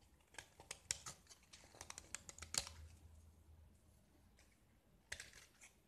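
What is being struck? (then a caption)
Gypsum plaster block. A metal utility knife blade scrapes and carves a small, solid, square gypsum plaster block that is painted red and scored in a grid, held in one hand, as white powdery chips flake off. Quiet, bright, dry scratches and crisp clicks come in irregular bursts, each dying away almost instantly. A dense run of scrapes fills the first three seconds, then a softer lull follows before another short burst near the end.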